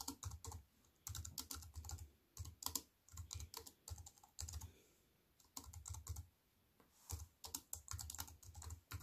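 Fingertips and long white-painted nails tap on a compact wireless keyboard with black plastic keys and a grey metal-look frame, resting flat on a wooden table. Quick bursts of short, bright clicks over a soft low thump come in rapid typing runs separated by brief pauses, each tap dying away almost instantly.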